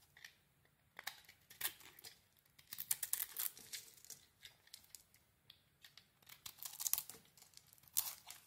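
A metal blade shaves the outer layer off a solid mint "Body Bar" soap bar, making quiet, bright scraping and crisp crackling strokes. The strokes come in irregular bursts with brief pauses between them.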